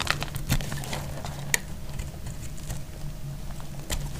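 A utility knife blade shaves powdery flakes off a solid bar of dry pale pink soap held in the hand. Soft, crumbly scraping and faint crackles run throughout over a low, steady hum. A few brief, sharp bright clicks stand out near the start, middle and end.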